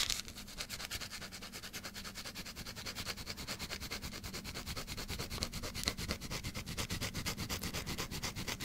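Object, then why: Bar of soap scratched with fingernails. A small pale green solid bar of soap, held close to the microphone, is scratched with long black acrylic nails. A fast, steady run of quiet, dry scratches gives a bright, crackly texture over a soft low rumble, continuing evenly throughout.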